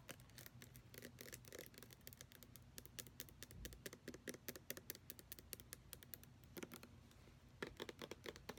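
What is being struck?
Plastic lotion bottle.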